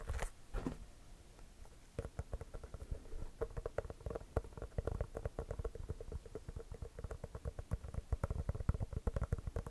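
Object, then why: Inflated basketball with pebbled composite leather surface. An inflated, hollow composite leather basketball is held beside the mic and tapped rapidly with the fingertips across its pebbled composite surface. After a brief, quieter rustle at the start, a fast, uneven run of soft, dull, low thumps with a hollow resonance follows, each tap dying away almost instantly.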